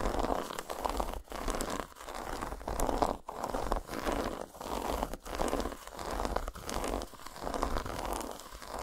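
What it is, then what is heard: Dark chocolate bar. Long nails rapidly tap and scratch a solid, segmented dark chocolate bar lying flat on a towel. The result is dense, dry, crinkly scratching in mid-range bursts, separated by brief pauses, with little bright top end.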